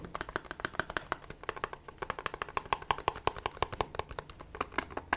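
A small, hollow, pink printed cardboard gift box with a satin ribbon is held in the hands and tapped and scratched with long nails. About forty quick, dry taps follow each other rapidly, each with a papery, hollow knock centered near 1 kHz and a bright edge, dying away almost instantly.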